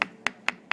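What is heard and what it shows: Four sharp taps on the petrous part of the temporal bone, the dense, solid "rock" of a skull model. Each tap is a short, bright click centered near 2 kHz that dies almost instantly, with almost no low end.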